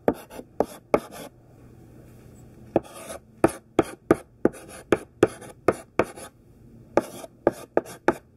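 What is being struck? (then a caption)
Sidewalk chalk on a flat chalkboard. A thick stick of pink sidewalk chalk, held in the hand, writes words on a large flat black chalkboard. Short, dry scratching strokes come in quick bursts, each with a sharp start and almost no ring. A quiet pause of about a second and a half breaks the stream partway through.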